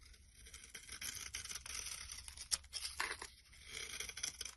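A solid rectangular brown bar of soap, held in the hand with its wrapper lying nearby, is shaved with a metal blade, curling off orange shavings. Repeated crisp, bright scraping strokes rise and fall in loudness over a faint low hum.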